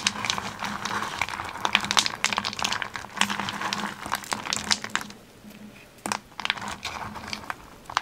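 Bare fingers snap and crumble a pile of thin white twisted solid wax birthday candles in a teal ceramic plate. Dense, bright crackling and crunching snaps fill most of the clip, with a faint low hum underneath. The sound eases into quieter crinkling around the five-second mark before a sharp snap and more crackling.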